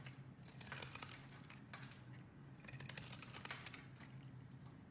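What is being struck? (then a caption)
Bar of soap cut with a knife blade. A hand-sized, solid opaque beige bar of soap is carved with a utility knife blade, and shavings fall off. Close, quiet scraping and cutting form a dense run of short, crisp bright crackles over a steady low hum. The bursts cluster around the first and third seconds.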